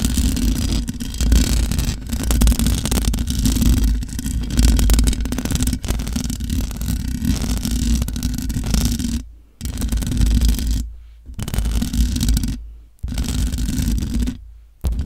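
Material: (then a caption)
Metal mesh. Long nails scratch the top of the hollow metal mesh grille on a large black microphone. The result is a dense, low, rumbling scrape with some brighter hiss above it. The scraping runs almost continuously and is broken by a few brief silent gaps near the end.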